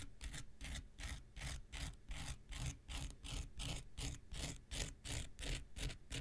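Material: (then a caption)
Abrasive foam. A small, solid, rectangular pink foam nail buffer block with a gritty surface is scraped near its end with an X-Acto knife blade. Steady, rhythmic rasping strokes repeat at about three per second, each a bright gritty scratch over a soft low thump.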